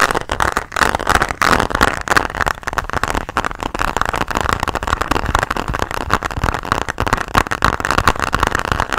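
A closed pink translucent hard plastic pencil case holding colored pens is tapped and scratched with nails and fingertips. It gives a steady stream of quick, dry clicks and scratchy rasps, centered in a hollow upper-mid band with a faint low rumble beneath. Each tap dies away almost instantly.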